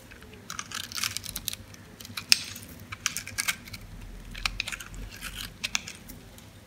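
A metal blade scores and scrapes crunchy cubes off a dry, solid green soap bar held in the palm. The result is a series of short, bright, crisp crunching clicks and scratchy scrapes over a quiet background, each dying away almost instantly.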